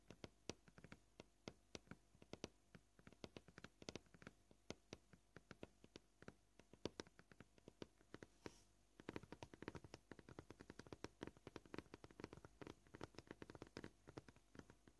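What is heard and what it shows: Short painted nails tap quickly on a flat white plastic cutting board, making dozens of dry, clicky taps that die away almost instantly. The taps come at a steady pace at first, then turn denser and fuller after about nine seconds over a faint background hiss.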